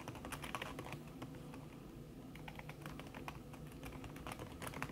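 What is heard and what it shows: Fast typing with fingertips and long red-painted nails on a thin backlit aluminium keyboard with plastic keys under a red silicone skin. The result is a steady run of soft, muffled taps with occasional brighter clicks over a low, even background.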